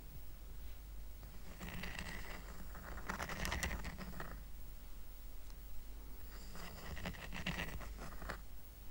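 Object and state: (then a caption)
Woven rattan coaster. Short nails scratch across the weave of a small, round, flat woven rattan coaster held down on a blanket. Two stretches of dry, raspy scratching with fine bright crackle rise over a steady low rumble, separated by a quieter pause.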